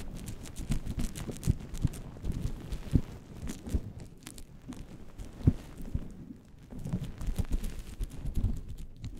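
Fingertips and purple-painted nails of both hands scratch and rub a fluffy faux-fur windscreen on a microphone. The result is a dense, low, muffled rumble of close rustling with many soft thumps and a few sharper knocks that fade instantly. Nothing bright comes through.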